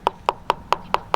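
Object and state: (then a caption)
Hollow synthetic rifle stock. Six quick knocks on the synthetic stock of a budget Savage Axis .30-06 rifle, each a short, dry, hollow-sounding tap centered around 1 kHz that dies away almost instantly. The stock is hollow at that spot.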